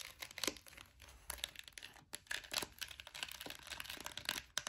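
Long nails tap and scratch the sides of a clear orange plastic gel-bead air freshener jar, full of gel beads with the lid on. Quick, bright clicks mix with dry, crinkly scraping, each tap dying away almost at once with very little low end.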